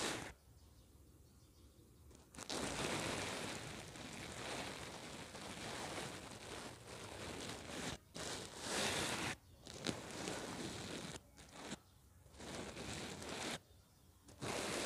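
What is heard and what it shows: A makeup brush held in the fingers sweeps and rubs across a soft, stuffed square cushion covered in reversible red and silver plastic sequins, flipping them between colors close to a mini microphone. Dense, bright rustling and crinkling comes in long broadband bursts separated by brief quiet gaps.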